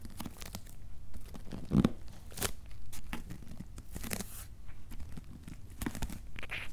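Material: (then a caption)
Cardboard. A large corrugated cardboard shipping box with a paper label is scratched and tapped with fingertips and nails on its top and sides. Dull, low taps mix with dry, crackly scratching bursts that stop short, with no ring after each touch.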